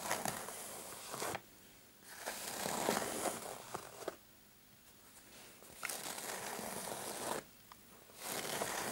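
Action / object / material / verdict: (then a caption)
scrape / fabric clutch purse with metal frame / fabric / none. Short painted fingernails scratch the fabric of a dark patterned fabric clutch purse with a metal frame lying flat. Four bursts of dry, bright, crinkly scratching are heard, separated by brief quiet pauses, with faint ticks within each burst.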